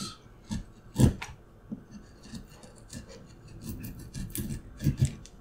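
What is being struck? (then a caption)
Wooden block cut with a steel knife. A steel carving knife held in the fingers scrapes and cuts into a solid, light-colored, palm-sized wooden block with a paper pattern glued on top. The result is a series of short, dry rasping strokes with low, muffled thumps and brief bright scratchy hiss. The strongest cuts land near the start and end of the clip, and there is almost no ring after each stroke.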